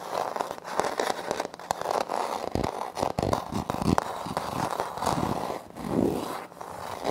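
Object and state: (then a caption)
Laminate floor. Fingernails scratch and tap a flat, solid wood-look laminate floor panel with a light wood-grain print. The result is a steady run of crisp, crackly scraping broken by many quick, dry taps that die away almost at once. The sound sits mostly in the midrange around 900 Hz, with little low end.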